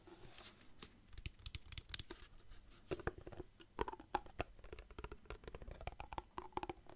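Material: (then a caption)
Plastic. A partly filled clear plastic water bottle is held close and tapped and squeezed with fingertips. The result is a steady run of quick, dry taps mixed with crinkling plastic and soft sloshing, with short bright clicks and a low body underneath.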